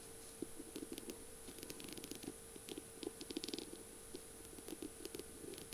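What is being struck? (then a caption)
Beaded pen barrel with mirror tiles and metal tip. Long purple nails tap and scratch the beaded barrel of a feather pen decorated with mirror tiles and fitted with a metal tip. The result is a quiet, uneven run of short, light clicks with bright, crisp edges that die away almost instantly, some bunched into quick flurries, over a faint steady hum and hiss.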